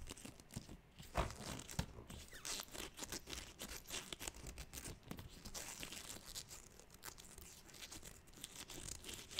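Long manicured nails scratch and tap the surface of a large, inflated, air-filled blue 24-inch latex balloon held against the microphone. The result is a quiet, continuous run of dry, crinkly rubbery scratching mixed with soft, hollow taps, with the occasional sharper tap standing out.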